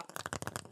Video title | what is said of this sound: Wendy's Big Bacon Cheddar Cheeseburger & Chicken Sandwich - Face Jam | it sounds plastic when you close it this is food you're listening to food